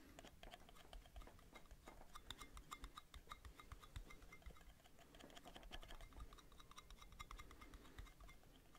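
Metal lids are tapped rapidly with light fingertip-like strikes, recorded binaurally. The dense, quick taps give short, bright metallic clicks that barely ring, over a soft low background rumble.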